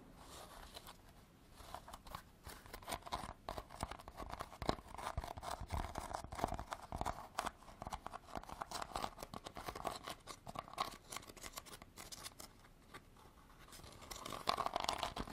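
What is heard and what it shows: A hollow woven rattan basket of natural fibre, held against the hand, is scratched and tapped with long black artificial nails. The result is a steady stream of dry, rapid scratchy clicks and rustles with a hollow midrange tone, and a few louder bursts toward the end.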